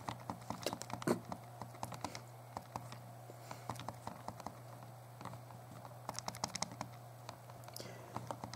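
A small, hollow, translucent purple plastic Game Boy Color is held in both hands while thumbs tap and press its plastic buttons. Quick, dry plastic clicks come in irregular bursts over a steady low hum, each click stopping almost at once.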